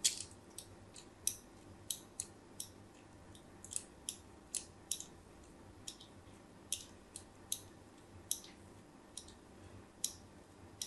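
A craft blade scores lines into a solid white embossed bar of soap that is turned in the hand. About twenty short, crisp, bright scratching cuts are heard, each dying away almost at once, over a faint low background hiss.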